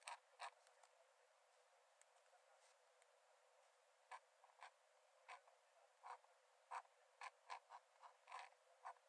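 A metal nib in a wooden dip-pen holder scratches thin lines onto the cream paper page of an open sketchbook lying flat on a dark desk while drawing. Quiet, dry, brief scratchy strokes come in an irregular series, clustering more densely toward the end. They have a raspy midrange center around 940 Hz, a bright papery hiss above, and no low end.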